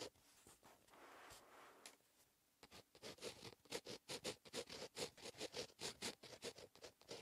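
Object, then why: Ballpoint pen on lined paper. A plastic ballpoint pen scratches across a lined paper notebook page in short cursive strokes, the tip staying on the paper throughout. A softer, hushed stretch of writing at the start gives way to a quick run of crisp, bright scratching strokes, each one short and dry, coming about twice a second.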